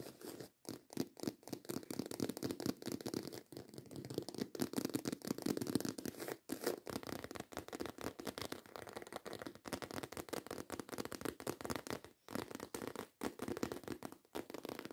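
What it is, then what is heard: Croc-embossed faux leather handbag. Long acrylic nails rapidly scratch the embossed scales of a black croc-embossed faux leather handbag held horizontally. Dense, dry, raspy strokes come in quick bursts with a midrange body, broken by a few brief silent gaps.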